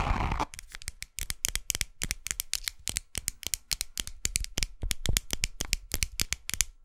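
Long acrylic nails tap and scratch across the face of a small, flat pink wallet with a cross-grain faux leather surface and a zipper edge, lying on a lap. A brief dense scratchy rustle opens the clip, then dozens of quick, dry, separate taps follow in a rapid irregular rhythm. Each tap has a bright clicky edge and a soft low thump, dying away almost instantly.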